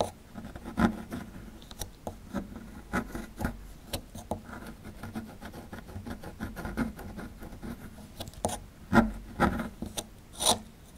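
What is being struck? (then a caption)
Plaster dig block. A metal pick tool scrapes the edge of a small, solid plaster block with a dinosaur relief, held in the hand, and crumbs pile up. Quiet, gritty scratching runs throughout, broken by sharp little clicks and a few louder, bright scrapes near the end.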